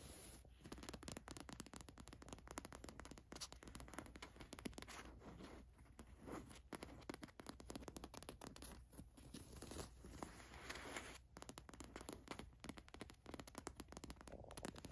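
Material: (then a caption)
Cotton. Long nails scratch over the rubbery gold watch print on a black cotton t-shirt. A dense, continuous run of quick, dry scratching and scraping strokes is heard, with a faint low hum underneath.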